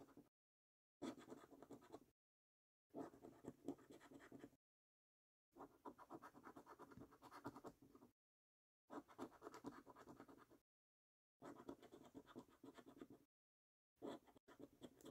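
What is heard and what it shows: A coin held in the fingers scratches the latex-coated circles on a £25 5x £1 Million Prize Portal National Lottery paper scratch card. Quiet, dry, gritty scratching comes in repeated bursts of rapid rasping strokes separated by short silent pauses, with most energy in the low-mid range around 280 Hz.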